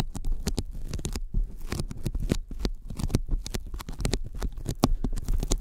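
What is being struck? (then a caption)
Thin polyethylene foam sheet. Sticky fingertips tap quickly on a thin white closed-cell polyethylene foam sheet lying flat in front of the microphones. It makes a rapid, uneven patter of short, soft, low thuds with faint sticky crackles and very little ring.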